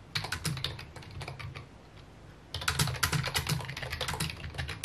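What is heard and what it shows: Fingertips tap the keys of a full-size white and mint plastic keyboard with a hollow key housing, resting on a wooden desk. Quick, uneven clacks with bright tops and a low, hollow thud underneath fade to a brief lull near the middle, then resume faster and louder to the end.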